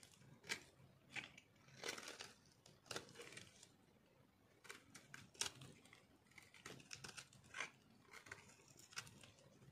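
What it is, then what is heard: Dry soap bar, crumbly. A metal knife cuts into a solid, speckled dry soap bar held in the hand, crumbling it. Quiet, dry, bright crunches and crackles come in short, irregular bursts with almost no ring and little low end.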